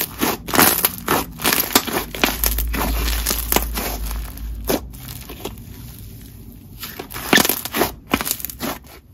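Yellow crunchy honeycomb slime is spread flat on a marble surface, then pressed and smeared under a palm and kneaded back into a ball by the fingers. It gives an irregular run of bright, crisp crunches and crackles over a steady hiss. A faint low hum sits underneath in the middle of the clip.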